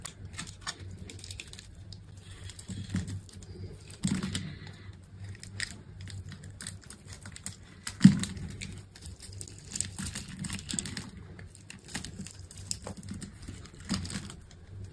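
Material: Soap.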